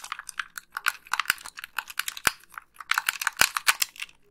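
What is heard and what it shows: Long pink nails click the face buttons and tap the shell of a hollow, white plastic Xbox 360 gamepad. The result is a rapid, uneven stream of short, dry, bright clicks and taps with almost no low end, each dying away almost instantly.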